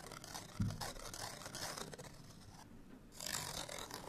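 Long nails scratch a small, flat printed paper card hang tag held in the hand, making a dry, bright, rasping scrape with a soft low thump near the start. The scratching thins out briefly toward the end, then returns in a louder, brighter burst.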